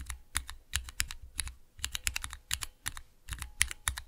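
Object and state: Plastic mechanical keyboard switch tester.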